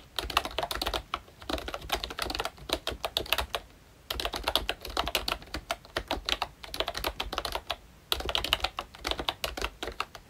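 A full-size Royche Disney Mickey Mouse themed retro membrane keyboard with round plastic keycaps is typed on continuously with the fingertips of both hands. Rapid, bright plastic clicks and taps arrive in three dense bursts, separated by brief pauses near 4 and 8 seconds. Each keystroke is short and dry with almost no ring.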